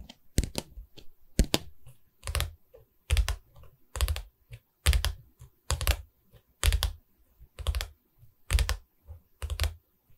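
Long red nails on both hands tap along the top edge of a canvas board's light wooden stretcher frame. Quick clusters of taps arrive in uneven bursts, each a dull low knock with a bright clicky edge that dies away almost at once, over near-silence.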